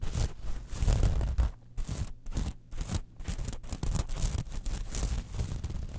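A small metal mesh clutch wallet lying on a fur rug is scratched and tapped across its platelets by long nails. The sound is a dense run of quick, crackly scratches and light taps with short gaps, mostly low in weight with a thin bright rasp on top.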